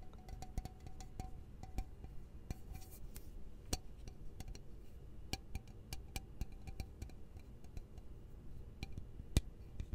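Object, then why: Metal aerosol spray can. Fingertips and nails tap and scratch along the hollow metal body of a tall, cylindrical, purple-labelled aerosol spray can with a yellow-topped cap, held in hand next to the microphone. A steady run of short, dry, clicky taps, some brighter and sharper than others, sits over a low, soft background rumble, with a faint metallic ring near 700 Hz after some early taps.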